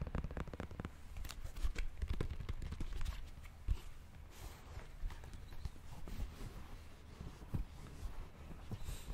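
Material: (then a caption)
Foam rubber. A galaxy-print Nike React Presto running shoe, hollow and empty, with a thick white and orange foam sole, a rubber outsole and a synthetic mesh upper, is held in hands while fingertips and nails tap and scratch the sole and upper. Quick, dull, low-pitched taps come in a steady stream, mixed with soft scratching and brushing that fades quickly after each touch.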